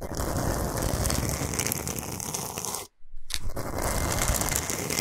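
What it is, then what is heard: Himalayan salt block. Long pointed nails of both hands tap and scratch the top of a large, flat, solid slab of Himalayan salt lying on fur. The result is a dense, gritty, crackling scrape with a bright hiss, broken by a brief pause of silence near the three-second mark before the fast scratching resumes.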